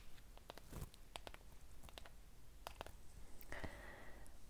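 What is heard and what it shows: A small patterned ceramic candle cup filled with unlit white wax is held in one hand and tapped on its wall with fingernails. Quiet, sharp clicking taps come in irregular clusters over a low background hum, and one tap near the end leaves a brief ringing tone.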